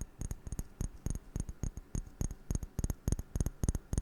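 Fingers tap on a glass object in a quick, uneven run of about eighteen short, dry taps. Each tap carries a soft low thump and a faint bright click, and dies away almost at once.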